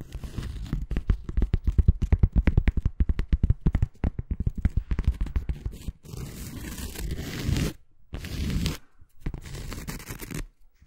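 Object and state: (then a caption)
Cork coaster. Long fingernails on both hands rapidly tap and then scratch the face of a round, flat, solid granulated cork coaster held up in the air. About six seconds of quick, dry, irregular taps with almost no ring give way to longer rasping scratch strokes separated by short pauses. The sound is dull and weighted toward the low end.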